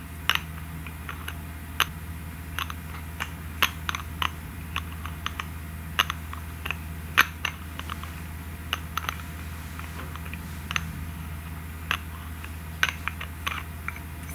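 Long nails open, close and tap the red plastic cap of a small glass lip tint bottle filled with red liquid. A series of short, crisp, sharp clicks and taps sounds at irregular intervals, each dying out almost instantly. A steady low hum runs underneath.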